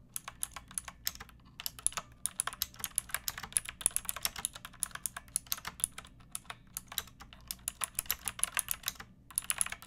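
Fingertips with long nails type continuously on a pink backlit mechanical keyboard with round plastic keycaps. Quick, bright, crisp clacks patter in an uneven stream with brief pauses, each keystroke dying away almost instantly over a faint low background hum.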